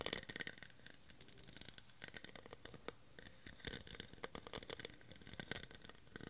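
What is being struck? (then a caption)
Ridged plastic cup. Fingernails scratch and tap along the ridged surface of a clear, cut-crystal-style plastic tumbler held in the hand, hollow and empty. The result is a rapid run of dry, brittle clicks and raspy scrapes with a bright, crackly edge. Each tick dies away almost at once.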